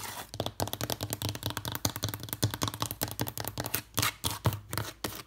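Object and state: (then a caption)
Old wooden trunk with metal studs. A long red fingernail rapidly taps and scratches the wood of an old, weathered wooden trunk with metal studs and rivets. The result is a fast run of short, dry clicks with a low, hollow knock beneath them and brief scratchy rasps between the taps.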